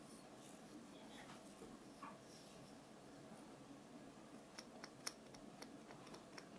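The wooden back of a small solid wooden nail brush, held in one hand, is tapped with long painted fingernails. After a quiet, soft-rustling stretch, seven quick, sharp ticking taps sound close together near the end, each dying away almost instantly.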